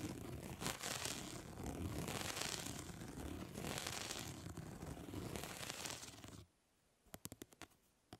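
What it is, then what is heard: Plastic mesh fly swatter scratched with nails. Long nails scratch across the grid of a plastic mesh fly swatter, making a continuous dry, raspy scraping that swells and fades in strokes for about six seconds. The scratching then stops abruptly, leaving near silence broken by a few sharp, bright ticks.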